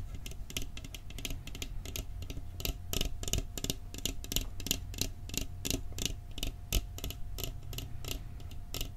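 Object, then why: Metal cookie tin. Fingertips tap quickly on the lid and rim of a round, decorated, hollow metal cookie tin held in front of the microphone. The rapid, light taps are bright and dry, each dying away almost at once, over a steady low hum. A faint tone holds through the whole clip.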